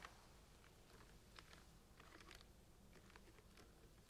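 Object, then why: Plastic screw caps on centrifuge tubes in a rack. Fingernails scratch and tap across the tops of the blue plastic screw caps on hollow plastic centrifuge tubes packed into a large rack. Soft, dry clicks and light scraping patter unevenly over a low, steady rumble, staying quiet throughout.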